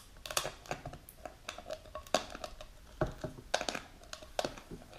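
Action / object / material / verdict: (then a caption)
tap / plastic jar filled with powder / plastic / none. A medium plastic supplement jar with a clear plastic lid and a label, filled with powder, is held and turned while long pink nails tap and scratch it. Quick, dry plastic clicks and taps with a hollow midrange tone mix with bright scratchy crinkling. Each sound dies away almost at once.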